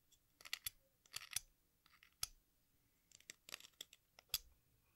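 An exacto knife blade scrapes and shaves the red surface of a small, solid watermelon-slice piece of sidewalk chalk held over a pink bowl, and red and green chalk dust collects in the bowl. About a dozen short, dry, bright scratching strokes come in quick, uneven bursts with brief pauses, each one stopping almost instantly. The sound is quiet and crisp.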